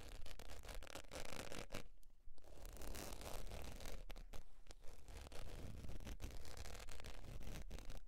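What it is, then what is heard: Faux leather wallet. Long pointed nails scratch the surface of a beige textured faux leather zip wallet lying on fur. The result is a dense, raspy scratching and rubbing with strokes at roughly two per second, a low rumbling undertone and a brief lull around the two-second mark.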